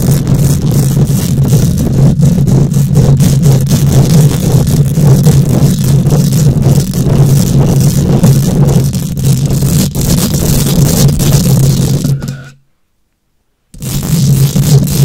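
Long nails scratch and tap rapidly across a hollow metal mesh microphone grille, producing a dense, boomy, low rumbling scrape with fast, uneven raspy strokes. The scratching drops to near silence for about a second near the end, then resumes.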